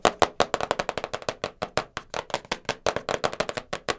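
Long nails tap fast on the lid and sides of a small black cardboard jigsaw puzzle box. About 29 short, dry, hollow clicks come in a rapid, uneven run, with a papery mid-pitched knock and almost no ring.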